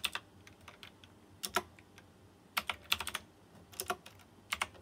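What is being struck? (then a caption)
Plastic mechanical keyboard with metal-rimmed keycaps. Fingertips of both hands type on a white plastic mechanical keyboard with round chrome-rimmed keycaps. About fifteen sharp, bright clicks come in uneven bursts with pauses between, each dying away almost instantly over a quiet background.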